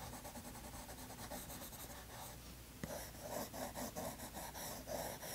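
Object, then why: Colored pencil on toned paper sketchbook page. A green colored pencil rubs and scratches across a toned tan sketchbook page while the other hand rests on the paper. Soft, steady scratchy strokes build into a series of brighter, more pronounced strokes after a sharp tick partway through. The sound stays quiet and close, with a gritty, papery texture.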